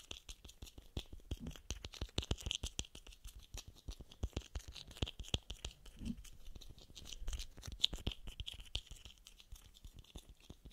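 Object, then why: Small plastic screw cap. A small, hollow blue plastic screw cap is tapped and scratched with fingernails while held close to the microphone. Rapid, quiet, dry clicks and scratches fall in uneven bursts, with bright plastic ticks centered around 3.4 kHz and soft low thumps underneath. Each tap dies away instantly with no ring.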